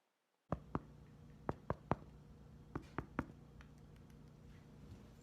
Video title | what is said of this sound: VeggieTime at Home - Bread | if you thump the bottom with your fingertips, it should sound hollow